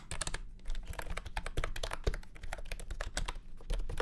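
Fast fingertip typing on a full-size beige and orange plastic retro keyboard with round keycaps and a hollow body, resting on a felt mat. A rapid, uneven stream of short, dry clacks, each with a deep hollow thump underneath and a bright click on top, dies away almost instantly.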